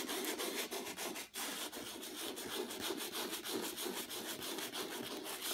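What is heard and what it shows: A small folded piece of sandpaper held in the fingertips is rubbed back and forth across the middle of a flat painted canvas with a rough acrylic texture. The result is a steady, gritty, bright scratching hiss with a fairly quick, uneven stroke rhythm of about three strokes per second and a brief dip shortly after the first second.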